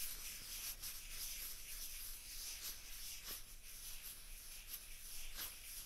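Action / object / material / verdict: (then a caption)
scrape / plastic ping pong balls / plastic / none. Two small hollow white celluloid/plastic ping pong balls, one held in each hand away from the microphone, are rubbed and scratched with long fingernails. The result is a steady, quiet, bright hissing scrape with faint low rumble underneath and a few brief brighter scratches.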